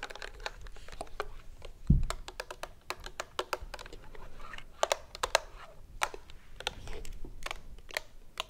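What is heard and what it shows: Long acrylic nails tap quickly on a hollow, medium-sized white and red plastic lotion bottle with a green flip cap, held in both hands. Sharp, bright clicks with almost no ring come in an irregular flurry over a soft low rumble, with one duller low thump near the two-second mark.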